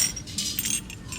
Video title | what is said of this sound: Eighty Bucks is EIGHTY BUCKS - Goodwill Thrift With Me - Reselling | what is that rattling around it's a broken spoon that's usually the case when you hear something rattling inside a sugar bowl